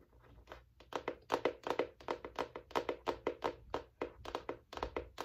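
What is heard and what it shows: Long nails tap and scratch on the solid, flat cardboard hardcover of a large spiral-bound notebook with a striped navy and white cover. The result is a quick, irregular run of short, dry clicking taps. Each tap has a hollow mid-range tone, little bass, and almost no ring.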